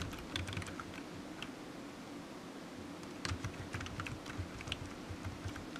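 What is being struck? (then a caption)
Plastic computer keyboard. Fingertips of one hand tap the keys of a solid, black, low-profile plastic computer keyboard resting on a desk mat while typing. Quick, bright key clicks come in irregular bursts, with a pause around the middle. Each click dies away almost at once over a soft, low, steady rumble.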